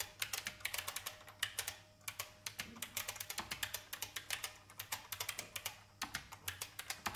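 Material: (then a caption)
Plastic. Fingertips with red-painted nails type on a vintage beige IBM mechanical keyboard with plastic keycaps. A quick, steady run of sharp, bright plastic clacks follows, each short and dry with almost no ring.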